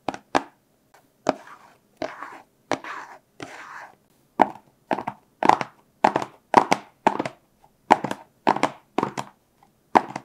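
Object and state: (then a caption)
Small cardboard box. A small, hollow, blue printed cardboard product box is tapped and scratched with fingertips and short nails, first held in the hands and then resting on a black surface. A quick series of sharp, dry taps carries a hollow midrange knock, mixed with a few brief papery scratching bursts. Each tap dies away almost instantly.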